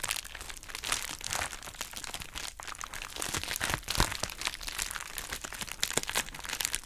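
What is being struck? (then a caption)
Plastic bubble wrap pouch. A hollow, pink, heart-shaped plastic bubble wrap pouch is squeezed and crumpled with fingertips and long nails. The result is steady bright crinkling, broken by many quick, sharp crackles and pops.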